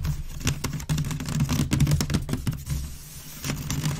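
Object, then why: Woven wicker waste bin. Long red nails scratch quickly across the weave of a hollow, empty grey woven wicker waste bin, making fast, irregular, crackly scrapes and taps over a low, hollow resonance. The bin is then tilted, and the scratching continues with bright, brittle clicks.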